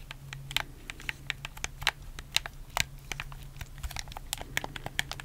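Fingertips press and click the buttons and a thumbstick of a black, hollow plastic PS4 game controller held close to the mic. A rapid, irregular string of sharp, dry plastic clicks and taps rings out, bright and crisp with no ring after each one. A faint steady low hum runs underneath throughout.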